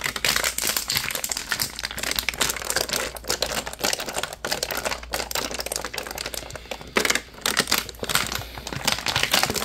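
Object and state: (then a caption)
Plastic water bottle. Fingertips squeeze and crinkle the ridged thin walls of a partly filled clear plastic water bottle with a label and white cap, held in both hands. Dense, bright crackling and crinkling snaps run continuously, with a brief quieter dip around seven seconds before a louder burst. The sharp, dry clicks stop instantly, with little low-end body.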